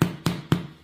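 Three knocks on the bottom of a homemade spelt flour bread loaf fresh out of the oven give dull, hollow thuds with a low pitch and a very short ring. The hollow sound means the loaf is baked through.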